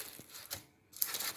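A baked spinach and cheese börek is pressed, giving a few short, dry, high-pitched crackles and crunches separated by a brief quiet gap. The crackling shows the pastry is very crispy and fully cooked inside and out.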